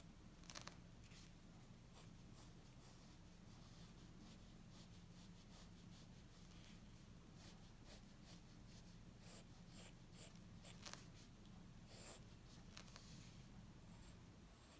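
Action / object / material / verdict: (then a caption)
scrape / graphite pencil on a paper sheet / paper / none. A graphite pencil held in the fingers scratches and strokes across a flat white paper sheet lying on a wooden table while sketching. Quiet, bright, dry scratching strokes come and go over a steady low background hum.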